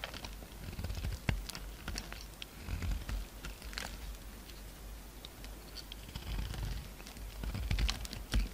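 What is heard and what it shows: A solid pink bar of soap, held in the hand, is carved and scraped with a utility-knife blade as chunks break off. The clip is a quiet, steady run of dry, crisp scraping and sharp little clicks and crackles, with brief bright snaps over a low, soft rumble.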